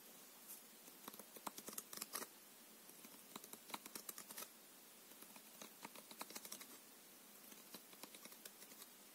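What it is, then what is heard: Paper playing card deck. A full deck of coated paper playing cards is held in the left hand while the right thumb and fingertips riffle the edges. Quick bursts of bright, dry flicking clicks come in irregular clusters, with very little low end and almost no ring.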